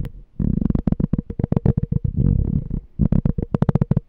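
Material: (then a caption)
Glass. A small, clear, empty glass jar with a pink and white label is held in both hands while fingertips and nails tap and scratch its wall. The result is a fast run of short, dull taps mixed with brief scratching. The sound is deep and muffled, with a faint steady ring near 500 Hz and quick bright clicks.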